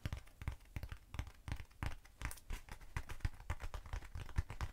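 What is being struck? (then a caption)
Foam cylinder. Long nails tap rapidly on both sides of a short, hollow black foam cylinder held upright. The taps come as quick, dull, low thuds with a faint scratchy crinkle, each stopping dry with no ring.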